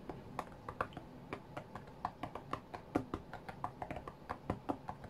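Fingertips of both hands tap the glass touchscreen of a white iPad lying flat on a mat. About 26 quick, light, dry taps land in an uneven rhythm, each a soft midrange click that dies away almost instantly over a faint steady hiss.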